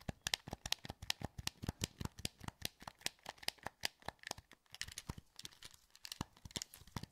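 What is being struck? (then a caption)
Plastic game controller. Thumbs click the buttons of a hollow, translucent green plastic PS2 wireless controller held in both hands. The result is a steady run of dozens of short, dry plastic clicks, each with a bright snap and a soft low thump. Each click stops instantly with no ring.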